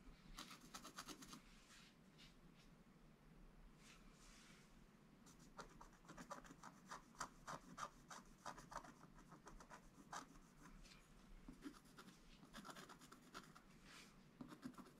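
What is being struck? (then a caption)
Black-coated scratch art paper board scraped with a wooden stylus. A wooden stylus scratches the coating of a flat, black-coated scratch art paper board, making quiet, dry, bright scratching strokes. The strokes come in irregular bursts with brief pauses between them, each stroke short with no ring.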